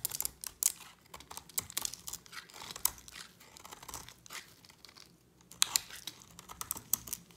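A utility knife blade scrapes a solid purple-and-white dry soap bar with a yellow coating, held in the hand. The sound is a series of crisp, dry, bright crackling and shaving scrapes with sharp transients. It briefly quiets near the five-second mark before the scraping resumes.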